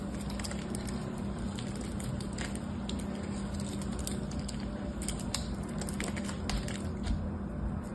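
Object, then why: Gold-coated soap bar. A solid rectangular soap bar with a gold patterned coating and white interior is held in hand and scraped and carved with a small black knife blade, shavings falling away. A steady low rumble runs throughout, dotted with many faint, quick bright scraping ticks and crackles.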